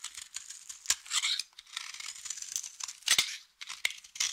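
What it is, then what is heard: Dry soap bar cut with a blade. A utility knife blade shaves and cuts thin flakes from the edge of a solid blue soap bar held close by, making a dry, crunchy scraping sound. The rasping scrapes are bright and high, with almost nothing in the low end, and are broken by several sharp clicks and short louder crunches. There are brief quiet gaps between strokes.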